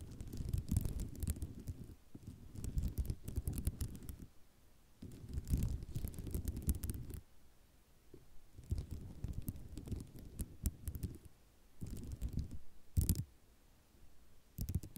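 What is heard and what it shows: Long nails tap and scratch across a flat sheet of white ceramic mosaic tiles, making dense bursts of clicking and rattling with a low, rumbly body. The bursts come in alternating stretches separated by quieter pauses, with a few sharper, brighter clacks standing out.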